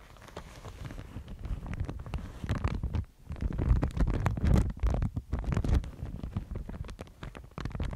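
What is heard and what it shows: A thin, fibrous white Thai mulberry paper sheet is held in both hands and bent and crinkled by fingers with long nails. Irregular soft crackles and rustles run continuously over a heavy low, close rumble, with brief dips in loudness near the 3- and 5-second marks.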